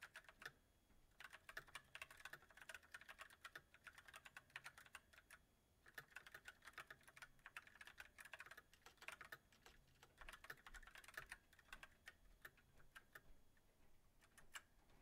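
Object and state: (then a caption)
Mechanical keyboard typing. Fingertips of both hands type on a backlit mechanical keyboard with white plastic keycaps set on a silver metal frame. The result is steady, quiet bursts of short, bright plastic clacks that die away almost instantly, with brief lulls around 5.5 and 9.5 seconds.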